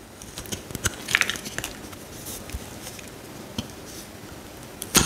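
A solid pale green bar of soap held in the hand has thin slices shaved off it with a metal utility knife blade. Soft, bright scraping and crackling cuts are heard against a quiet background, with a sharper cluster near the start and a louder crisp scrape at the end.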